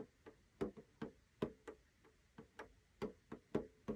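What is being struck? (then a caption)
Small metal tin with a clear plastic window lid. Fingertips of both hands tap the clear plastic window lid of a small rectangular metal tin with a blue snowflake rim, hollow with paper contents inside. The result is an irregular series of quiet, short, hollow clicks with a mid-range tone around 400 Hz and very quick decay.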